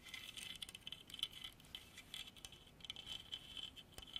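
Long artificial nails scratch and tap across a solid dark hardwood carving of a running horse on a base, about 30 cm long. The result is a quiet, dense, bright patter of rapid clicks and scratches with a steady edge near 3 kHz, each tap dying away almost instantly.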